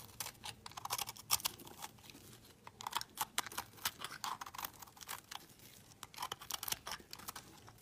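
A knife scrapes crumbly shavings off the surface of a solid oval yellow soap bar held in the fingers. Quick, repeated strokes make dry, crisp crackling scrapes that are bright and airy, with almost no low end. Short pauses fall between the bursts.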